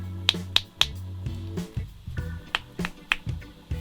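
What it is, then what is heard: Genuine phone charger, knuckle knock. A genuine 88W plastic phone charger, weighing 104 g and with a shielding steel plate inside, is knocked with the knuckles for comparison with a 70 g counterfeit. Six short, sharp, dry taps sound over a low background hum, with no ring after each. The taps come from the genuine, heavier-built charger.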